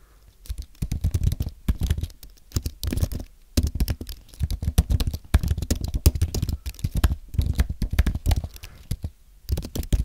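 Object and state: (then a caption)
Aluminium and plastic keyboard being typed on. A compact white aluminium and plastic Apple keyboard is typed on with fingertips, giving quick bursts of soft, low, thuddy key taps separated by brief pauses. Each tap is short and dull, with almost no high ring.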